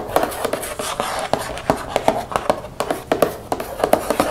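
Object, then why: Plastic shampoo bottle. A mostly empty translucent plastic baby shampoo bottle, 532 ml, lies on its side and is tapped and scratched with long fingernails. About twenty-two quick, hollow taps with a mid-pitched plastic tone ring out only briefly. A continuous bright scratching hiss fills the gaps between them.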